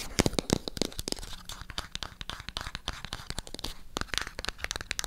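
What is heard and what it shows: Long acrylic nails tap and scratch on a small, hollow, white printed MyGel cardboard product box held in the hand. A rapid, uneven series of sharp, dry clicks and papery scratches follows, each hit dying away almost at once.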